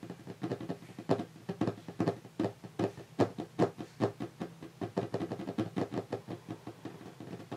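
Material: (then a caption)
Wood. Fingertips of both hands, resting on a large, solid, varnished wooden tabletop, tap and knock the wood in a quick, uneven patter. Each tap is a short, dull, woody knock with a low-mid body and almost no ring, some noticeably louder than others.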